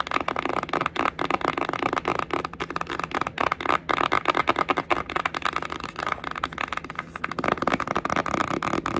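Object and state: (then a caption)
Cardboard eyeshadow palette. Long acrylic nails rapidly tap and scratch a flat red-orange printed cardboard Sheglam Beach Sunset eyeshadow palette, its hollow case held upright. The result is a dense, dry, crackly stream of short clicks and scrapes centered in the midrange, with very little low end and almost no ring.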